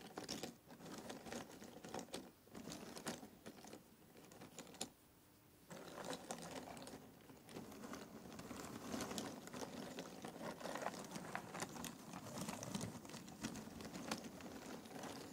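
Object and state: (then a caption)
Cardboard jigsaw puzzle pieces. Fingertips rummage through a pile of loose, thin cardboard jigsaw puzzle pieces in an open box. A dense, continuous stream of light clicks, taps and dry rustling is heard, briefly dropping quieter around the five-second mark before resuming steadily.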